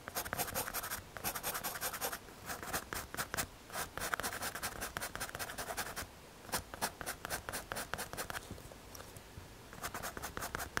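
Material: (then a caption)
MDF. A pencil tip scratches repeated hatching strokes across a small, solid, square brown MDF or hardboard panel held by fingers. Short, dry, bright scraping bursts come in quick rhythmic runs, with brief pauses between groups of strokes.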